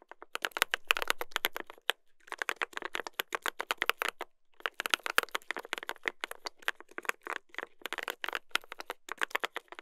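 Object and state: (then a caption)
Mechanical keyboard with brass plate, being typed on. Two hands type continuously with their fingertips on a mechanical keyboard with a brass plate and plastic keycaps. The result is a rapid stream of short, sharp, bright clacks with almost no low end, broken by brief pauses near the 2- and 4-second marks.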